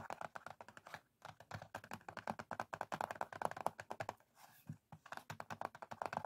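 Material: Cardboard.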